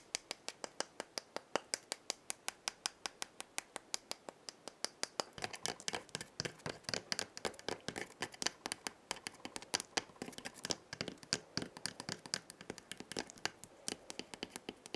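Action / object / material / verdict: tap / dried gourd maraca with wooden handle / wood / none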